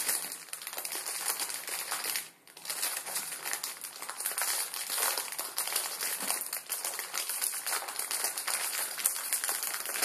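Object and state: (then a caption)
Plastic ramen noodle packet. Fingertips crinkle and press a full plastic-film ramen noodle packet resting on a wooden table. A dense, bright crackling crinkle runs almost continuously with almost no low end, dropping out briefly just after the two-second mark before resuming.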